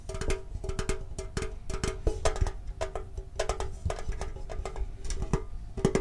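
A hand-sized, hollow, hexagonal printed metal Pokemon card tin is held in both hands while fingertips tap quickly on its lid and sides. The result is a rapid, uneven run of dull, hollow taps with a faint metallic tone around 390 Hz that dies away almost at once.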